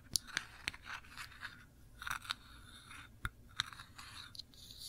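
Long nails scratch across a small glass jar full of cranberry jam, held sideways, and over its ridged black metal lid. Quiet, bright, dry scraping is broken by sharp ticks and crunchy clicks that die away almost at once, with very little low end.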